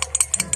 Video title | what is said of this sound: Honda RS 125 CARB TYPE Actual na Tunog ng Piston Slap at Kung Paano ito AYUSIN. Alamin. | may alog siya sa gitna